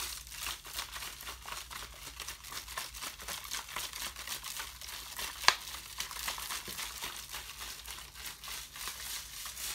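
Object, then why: Thin plastic water bottle. A thin, ribbed, clear plastic water bottle, hollow and apparently empty and glowing blue under UV light, is held in one hand and squeezed and crinkled with the fingers. A steady, bright, dense crinkling runs throughout, with one sharp, louder crack about halfway through.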